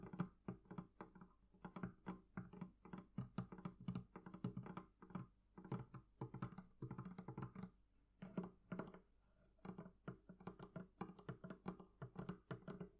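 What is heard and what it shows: Fingers tap rapidly on the leather covering of a barrel chest, producing a dense series of short, dull knocks with brief pauses between bursts. The sound is low and muffled, with almost no bright content and no ring after each tap.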